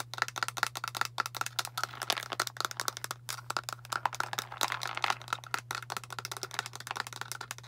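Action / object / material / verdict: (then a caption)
tap / plastic pill bottle full of tablets / plastic / none. Long nails tap quickly on a translucent plastic Tums antacid bottle with a blue cap, full of tablets and held sideways. A dense run of sharp, dry clicks with a hollow ring near 1.4 kHz, and the tablets may rattle inside. A steady low hum runs underneath.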